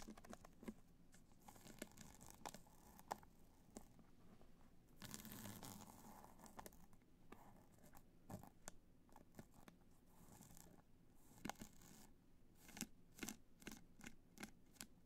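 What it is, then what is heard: Rhinestone-covered hard-shell clutch. Long nails scratch and tap across a hollow black hard-shell clutch covered in multicolor rhinestones, resting on white fur. The result is a quiet, crinkly scratching with many sharp, bright ticks and a longer, rougher scrape partway through.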